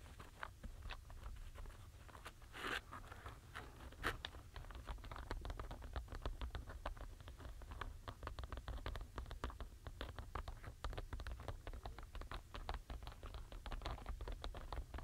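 Short natural fingernails tap and scratch across the tops of a full paper box of small solid wooden alphabet stamps, packed tightly in rows with the letter sides facing up. The result is a steady, rapid stream of sharp, dry wooden clicks and crunchy scrapes over a low background rumble, with each click dying away almost instantly.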